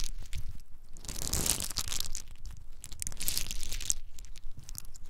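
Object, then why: Whole pine nuts in their hard shells. Whole in-shell pine nuts, small and hard-shelled, are rubbed and poured between two cupped bare hands, with some falling onto a dark surface. A dense, continuous rattling crunch of many tiny shells clicking and grinding against each other fills the clip, with bright, crisp clatter over a low rumble of handling.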